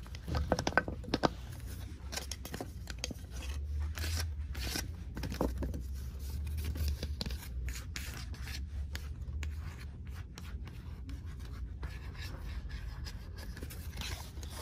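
Long nails tap and scratch the pink painted surface of a thin, solid, heart-shaped wooden "follow your heart" sign made of slats, hanging on a shelf. The result is soft, dry scraping and quick clicky taps over a steady low rumble, with a few sharper taps near the start.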